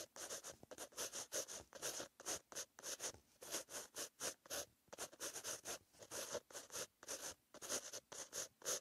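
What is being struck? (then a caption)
Pen tip on a paper notebook page. A pen tip with green ink scratches across a white lined paper notebook page while writing. The sound is a quiet, bright, rhythmic scratching in short strokes with tiny pauses between them.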